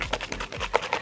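A nearly finished 250 ml Kevin Murphy Angel Wash plastic shampoo bottle, with water added to use up the last of the product, is shaken quickly back and forth. The water sloshes inside in short, rapid splashes with a light, bright tone.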